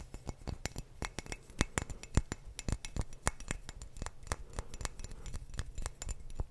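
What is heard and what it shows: A clear glass wine bottle held sideways is tapped with fingertips and nails on its thick glass base and body. The result is a fast, irregular stream of short, sharp clinks and clicks with bright highs over a low thud, each dying away almost instantly with little ring.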